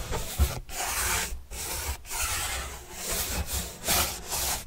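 A paintbrush is brushed back and forth across a large white printed corrugated cardboard box panel with green edges, held by hand. Broad, dry, bright scratchy strokes rise and fall with brief gaps between passes over a soft low rumble.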